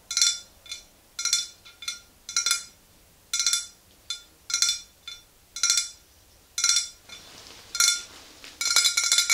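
Long green nails tap the sides of a tall glass swing-top bottle, nearly full of pale yellow liquid and standing on a fluffy rug. Bright, glassy clinks and ticks come in short, irregular clusters, each with a quick ringing tone that fades fast. The tapping turns denser and more rapid toward the end.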